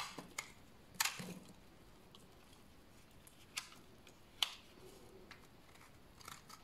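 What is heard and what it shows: A large, solid, dried tan bar of soap is held in the hand and scraped with a utility knife blade. Short, dry, bright scraping rasps stand out at intervals against a quiet background, each dying away almost at once, with softer scratches in between.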